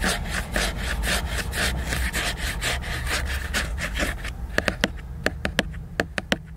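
Fingers and nails scratch and rub across the glossy laminated cover of a solid hardcover book, making a steady, rhythmic, papery scraping with low rumble underneath. After about four seconds the scratching stops and gives way to a series of short, crisp taps that ring bright and die away almost instantly.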